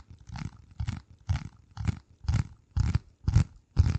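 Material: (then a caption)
Cardboard. A flat, hand-sized piece of dark corrugated cardboard is held over the microphone and scratched and tapped with the fingertips. Eight rough, muffled bursts arrive about every half second, each a deep, boomy thump with a scratchy rasp on top, growing slightly louder toward the end.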